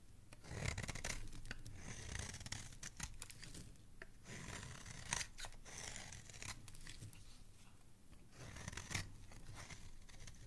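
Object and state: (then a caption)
Soap bar being shaved with a blade. A metal utility blade repeatedly shaves thin strips off the face of a palm-sized, solid green oval soap bar held in one hand. The result is a steady run of soft, crisp scraping and rasping strokes with bright edges and a low, muffled rumble underneath, with a few slightly louder cuts standing out.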